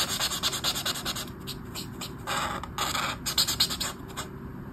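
A black brush marker, held close to its tip, scratches short strokes across a flat sheet of white paper in a colouring book. Quick, irregular bursts of dry, bright scratching follow one another, with a few louder strokes near the end before it trails off quieter.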